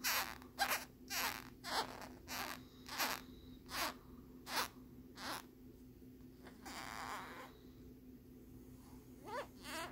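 Fingernails scratch along the ridged back of a hard plastic lenticular phone case with a peace-sign print. The result is a series of quick, bright, raspy strokes in a loose rhythm, with one longer, softer scrape in the middle. A faint steady hum runs underneath throughout.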